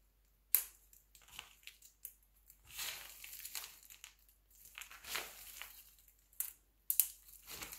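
Fingertips pinch and crumble a pile of mixed-color glycerin soap shavings into smaller pieces. The result is dry, bright crunching and crinkling in irregular bursts, some sharp snaps and some longer grainy rustles, with almost no low end.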